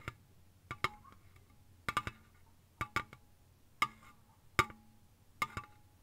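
A slim Lipton green ice tea aluminium can, hollow and lying on its side on a soft blanket, is tapped quickly with long fingernails. Twelve quiet, sharp, bright taps with a tinny ring near 1.2 kHz come in small, uneven clusters and die away almost at once.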